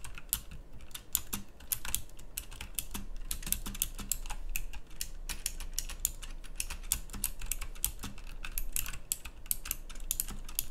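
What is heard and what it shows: A full-size pink mechanical keyboard with round plastic typewriter-style keycaps is typed on continuously with the fingertips. The result is a rapid, steady stream of sharp, bright clicky keystrokes over a low, constant hum.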